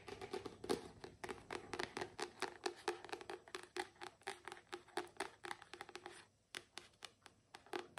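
A fast run of short, dry nail taps and brief scratches, each dying almost at once, with a faint low-mid body near 400 Hz. It sounds like a paperback book: the stiff paper cover clicks while the packed pages damp any ring. Close, small-room sound.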